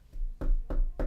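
Four knocks on a plank of hardwood, a faint first tap followed by three firmer ones. They are dull, low thuds with almost no ring and a deep, muffled body.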